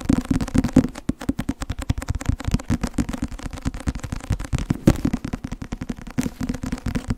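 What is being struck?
Softcover paper book.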